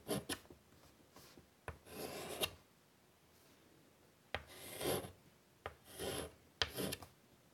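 A hand draws and shades with chalk on a large, flat black chalkboard in a light wood frame lying on a table. Short, sharp chalk taps alternate with longer bright, rasping strokes as the chalk rubs and scratches across the board. Quiet pauses separate the bursts.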